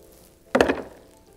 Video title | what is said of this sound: All the Water in the World - Virtual Story Time with Tarneshia | it was like a thump it went straight to the bottom it did not float